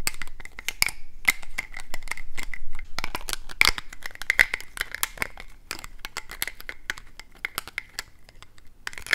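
Fingernails tap and scratch along a small, hollow, gold-painted plastic statuette trophy on a black plastic base, held in the hands. The result is a fast, irregular stream of crisp, dry clicks and scratchy rasps, with a faint thin ring around 2.3 kHz that dies away almost instantly after each tap.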